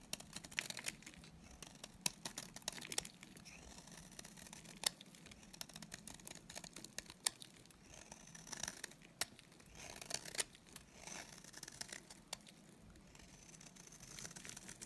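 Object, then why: Bar of soap shaved with a blade. A solid, dry white Aroma bar soap held in the hand is shaved with a utility knife blade. Quiet, bright, crisp scraping and crumbly crackling strokes repeat throughout, with sharp ticks standing out above a soft hiss.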